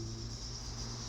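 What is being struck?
Nothing is struck.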